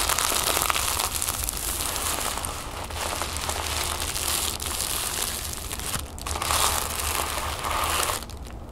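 Fingertips and nails scratch and crinkle folded orange tissue paper resting on a wooden table. A dense, continuous bright crackling rustle runs throughout, with a brief dip just after 6 seconds and softening toward the end.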